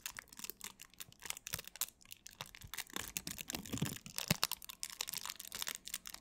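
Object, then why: Thin plastic film. Thin clear plastic wrap is stretched and crumpled between both hands close to the microphone, with long nails and fingertips crinkling and scratching the film. The result is a dense, quiet stream of bright, crisp crackles and sharp ticks that rise and fall in bursts with almost no ring.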